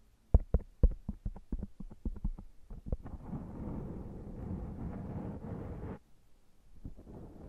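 Both hands rub a soft, porous black foam microphone windscreen with their fingertips and scratch it with short nails. A rapid run of short, muffled, bass-heavy scratches comes first. It gives way to a steady, rumbling rubbing that stops abruptly, then resumes faintly.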